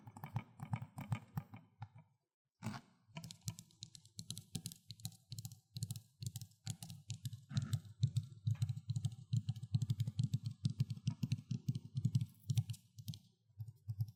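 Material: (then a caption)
Plastic. Fingertips tap on the plastic Xbox 360 case of Need for Speed: Most Wanted, producing fast, uneven runs of crisp, hollow taps. The taps have a low body around 110 Hz and a short clicky top. They stop briefly after about two seconds, then resume and continue steadily.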